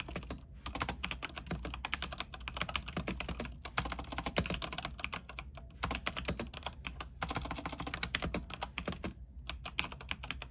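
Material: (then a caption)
Plastic. Fingertips of both hands type steadily on an RGB mechanical keyboard with white plastic keycaps on an aluminium frame. The quick, bright key clicks come in bursts with short pauses near 0.5, 3.6, 5.6 and 9.3 seconds. A steady low hum runs underneath throughout.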